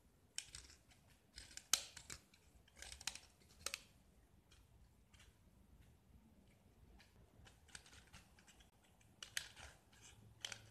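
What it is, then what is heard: Gypsum block being scraped. A metal utility knife blade scrapes and carves the white surface of a small solid gypsum block with yellow painted edges. Short, dry, bright scratching strokes come in uneven bursts with quiet gaps between them, with little low end and almost no ring.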